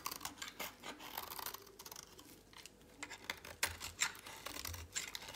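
A utility knife blade shaves flakes off a dry, oval, solid orange soap bar held in a hand with long pink nails. The clip is an irregular run of crisp, bright scraping and flaking sounds with quick, dry cuts and little low end.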